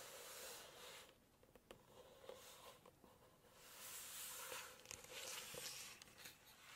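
Long acrylic nails tap and scratch the glossy paper pages of a large hardcover cookbook lying open to text and photo pages. Soft, bright scratching swells and fades, broken by sharp little clicks from the nails, with a faint steady hum underneath.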